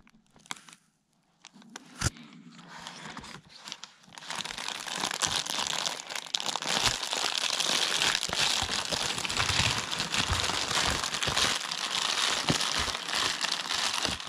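Yellow rubber-gloved hands squeeze and crumple a large white and blue Amazon Prime plastic bubble-lined mailer, hollow with contents inside. A few sparse crinkles and taps over the first four seconds give way to dense, continuous, bright plastic crinkling and crackling that lasts to the end.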